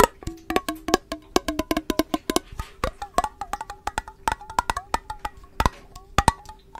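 Long nails and fingertips tap the sides of a clear, hollow, empty glass mason jar with a metal lid, held close to the microphone. A quick, irregular run of dozens of short, bright clicks follows, each with a faint glassy ring near 900 Hz that dies away almost instantly. A steady low hum runs underneath.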